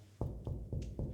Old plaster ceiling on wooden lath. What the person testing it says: ça sonne creux, c'est trompeur. On pourrait avoir l'impression que c'est un plafond en plaque de plâtre.